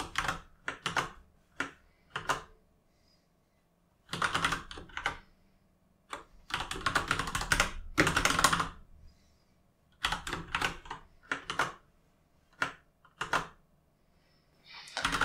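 Fingertips type on a full-size mechanical keyboard with plastic keycaps, producing quick bursts of clacky key taps. The bursts come in short runs separated by brief silences, with bright, crisp clicks that stop quickly.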